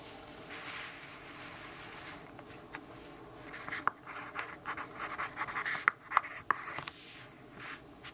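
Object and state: Pencil writing on a paper notebook page.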